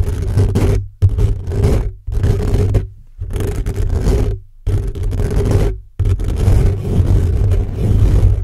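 Fingertips and short nails from both hands scratch fast across the hollow metal mesh grille of an upright black microphone. The result is dense, low, booming scraping and rumbling in repeated bursts separated by brief silences, with a faint tonal hum running beneath.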